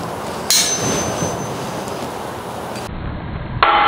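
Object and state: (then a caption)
Forged steel anvil, ball-bearing rebound test. A ball bearing is dropped from 20 inches onto a 275 lb forged steel anvil with an expected Rockwell hardness in the upper 50s to low 60s. Two bright metallic pings are heard: a first strike with a high ringing tone, then a second strike with a ringing tone near 1.3 kHz.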